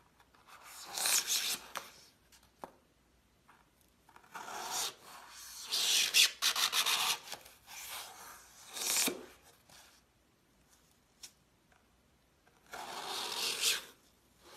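A gloved hand repeatedly slices a solid green floral foam half-dome with a glitter crust using a metal knife. Each cut is a dry, bright rasp as the blade scrapes through the foam, separated by short pauses and a few faint ticks.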